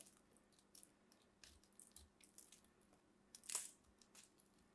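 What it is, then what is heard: Carved soap ball. A small metal blade scrapes and carves a solid green soap ball held in the fingertips, shaving off crumbly pieces. Quiet, bright, crisp scrapes and crunches come in short bursts, with the loudest cut at about 3.5 seconds, all over a faint low hum.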